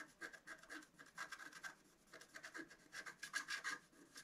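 A pointed wooden stylus scratches across a flat A4-size scratch-art card, black coating over a colored foil layer, resting on a table. A quiet run of short, dry, rasping strokes follows, with a bright scratchy edge and a faint squeaky tone near 1.6 kHz. The sound comes in bursts with a brief pause in the middle.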